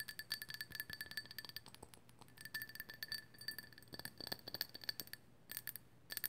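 Long nails tap quickly on the glossy body of a small, hollow, glazed ceramic owl figurine in pale orange with white dots, held in both hands. The taps give bright, ringing clinks with a steady high tone. They come in quick bursts separated by brief quiet pauses.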